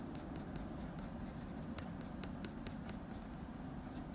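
A blue wooden pencil held in the fingers scratches fine fur strokes above the dog's eye on a sheet of drawing paper bearing a dog portrait. Short, bright, scratchy strokes sound over a steady, soft low hum.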